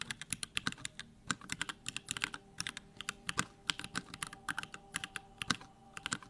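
Fast fingertip typing on the plastic keycaps of a backlit 65% Bakeneko65 mechanical keyboard fitted with Durock lavender switches. A rapid, uneven stream of short, crisp, bright clacks dies away almost instantly, over a faint steady hum.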